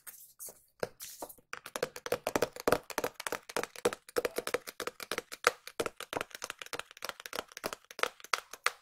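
A small, hollow, white printed cardboard product box is held in both hands and tapped with long nails. Dozens of dry, clicky taps come in an uneven run, sparse at first and then rapid, each with a hollow papery knock around 500 Hz and a bright edge that dies away almost instantly.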